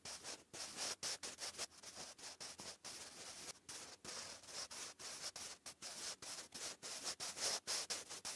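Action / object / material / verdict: scrape / graphite pencil on a paper notebook page / paper / none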